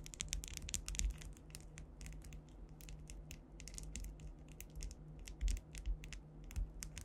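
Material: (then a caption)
Acrylic. Long white acrylic nails tap and scratch across a large, solid flat panel covered in rows of faceted clear rhinestones, likely acrylic, with the microphone directly above. Rapid, bright clicking taps and crinkly scratches come in quick bursts over a steady low hum.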